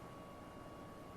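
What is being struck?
Nothing is struck.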